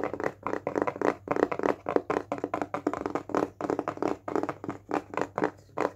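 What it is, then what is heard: Small round wooden disc. A small, round, flat, solid wooden disc is held in the hands and tapped quickly with fingertips and nails. About two dozen short, dry, clicky taps come in quick uneven bursts, each with a woody mid-range knock and almost no ring, over a faint low steady hum.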